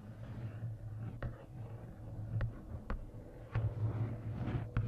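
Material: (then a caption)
Paper. Fingertips and long nails tap the card cover and lower edge of a large paperback coloring book. The taps are soft, short and irregular, over a steady low hum at about 110 Hz.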